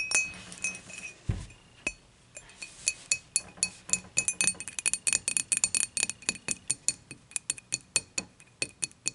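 Long nails tap the body and handle of an empty dimpled glass beer mug, first standing upright and then laid on its side. About three dozen bright, high glassy clinks ring only briefly, starting sparse and quickening into a steady tapping run.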